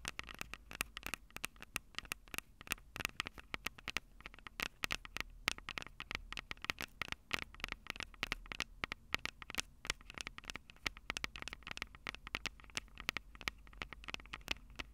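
Long purple acrylic nails tap and scratch directly on the two small metal X/Y microphone capsules and grilles atop a black plastic Tascam DR-05 handheld recorder. Dense, rapid clicks and scratches follow one another with almost no ring. They sound bright and hollow, with a strong tone near 2 kHz, over a low steady rumble.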